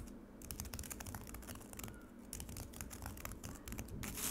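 A solid slab of frozen lemonade ice in a black rectangular plastic tray is scratched and tapped quickly across its icy surface by long acrylic nails on both hands. A rapid, dense run of sharp clicks and bright scratchy rasps sits over a low rumble, growing louder and brighter toward the end.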